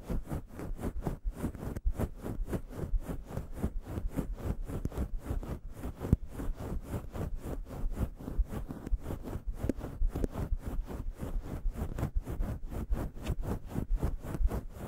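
Long yellow nails scratch a fist-sized grey fluffy faux fur windscreen on a microphone with both hands, raking the soft fur cover. A steady stream of quick, rhythmic rustling strokes sounds deep and muffled, heavy in the low end with a faint brushy hiss. Each stroke stops dead with no ring.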